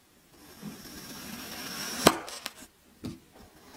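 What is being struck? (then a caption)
Kinetic sand block cut with a metal knife. A hand-held metal kitchen knife slices through a teal kinetic sand block, cutting it into cubes. A soft, grainy slicing hiss builds for about two seconds before a sharp, bright crunch. Two smaller clicks follow as pieces separate, then a dull tap, for three distinct hits in all.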